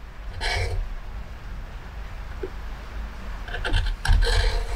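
A metal gouge at the rim of a pale wooden plate, its bowl full of shavings, scrapes and carves the wood in repeated strokes. Short rasping bursts with bright, high edges sit over a steady low rumble, with the strokes bunching together and growing louder toward the end.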